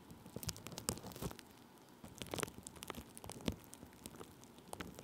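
Thin clear plastic bubble wrap laid over a microphone is rubbed and pressed with the side of a wooden stick held in the fingers. The result is a quiet, irregular run of dry crinkles and sharp crackling pops, with brief bright snaps standing out against a soft rustling bed.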